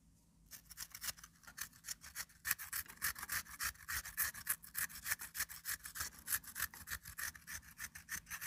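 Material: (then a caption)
Potato, metal. A peeled raw potato is rubbed up and down by hand over the perforated metal grating face of a small hand-held grater with a pink plastic frame. After a brief quiet start, a quick, fairly steady series of bright, rasping scrapes follows, each stroke short and dry with no ringing.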